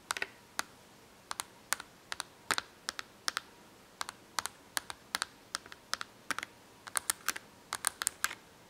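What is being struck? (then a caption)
Cardboard box of markers tapped with fingernails. Long acrylic nails tap and scratch on an open cardboard box full of markers. It makes an irregular run of sharp, dry clicks, some in quick doubles, each bright and dying away at once with almost no low end. The clicks sit over a quiet, steady background hiss.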